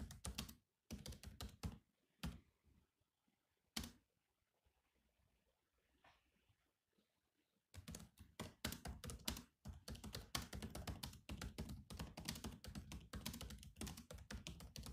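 Fingertips from both hands tap the black plastic keys of a grey laptop keyboard, producing quick, dull clicking keystrokes with a soft low thud. Bursts of typing pause for several seconds of near silence with a few isolated taps, then resume as a dense, steady stream of clicks through the end.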